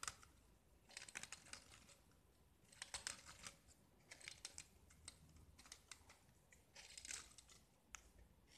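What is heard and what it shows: A small solid gypsum tile painted with blue and white stripes is held in the hand and scraped with a metal utility knife, curling off chalky shavings. Short, dry, bright scraping bursts come in quick irregular strokes over a quiet background.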